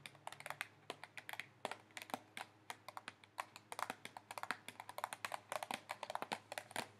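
A thin white disposable paper plate, held in the hands, is tapped and scratched across its surface with long fingernails. The result is a fast, uneven stream of short, dry, bright clicks and light scratchy rasps with almost no low end, each tap dying away instantly.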